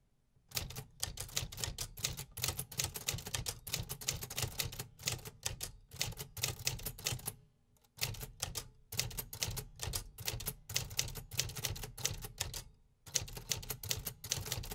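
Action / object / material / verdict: tap / metal-bodied manual typewriter / metal / none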